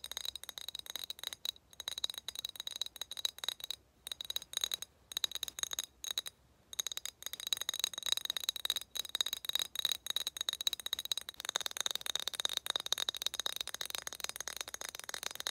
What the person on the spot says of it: 6:44 tapping on glass bottle